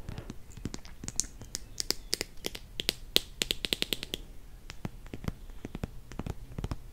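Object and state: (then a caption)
Plastic squeeze bottle full of honey. Long nails tap on a plastic squeeze bottle full of honey and on its cap. The result is a quick, uneven series of sharp, dry clicks with a bright, high ring on some taps and almost no decay, over a low, soft background.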